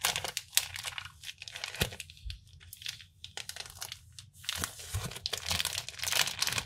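Fingertips handle and crinkle the printed plastic film wrapper of a flat, hand-sized Kinder Chocolate multipack full of bars, possibly beginning to open it. Bright, dry crackles and tearing-like crinkles come in dense bursts with brief quieter gaps, plus a few soft low thumps.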